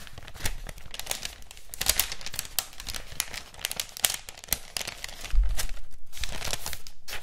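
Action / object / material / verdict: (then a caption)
scrape / thin printed paper wrapping sheet / paper / none. A thin white floral paper wrapping sheet with a red floral print is held in both hands, bent, crinkled and rubbed with the fingers. It gives a dense, uneven stream of crisp, bright crinkles and sharp crackles over a low rumble. The sound grows louder and fuller in the last couple of seconds.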